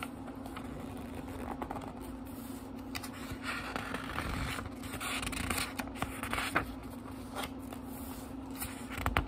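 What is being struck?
Small book with thin paper pages.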